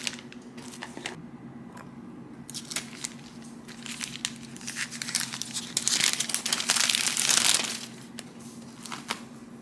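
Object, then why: Thin clear cellophane bag. An empty, thin, clear cellophane gift bag about the size of a sheet of paper is held up and stretched between two hands with long manicured nails. It is then laid flat and smoothed on a wooden table with the fingertips. The film gives off bright, irregular crinkling and crumpling that swells into a dense, loud rustle near the end before easing off.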